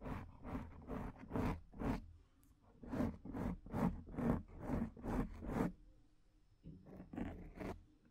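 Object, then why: Foam microphone windscreen. Long, dark-painted nails of both hands scratch the soft, porous black acoustic foam windscreen on a studio microphone. Short, raspy scratching bursts repeat at about two per second, with a deep low rumble and airy hiss. The bursts come in three groups separated by brief quiet gaps.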